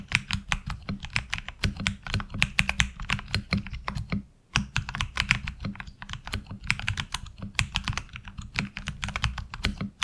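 Fingertips type steadily on a HyperX Alloy Origins Core mechanical keyboard with ABS keycaps, producing a rapid run of sharp, bright clicks and clacks over a steady low hum. There is a brief pause around the middle before the typing resumes. Each keystroke is short and dry, with almost no ring.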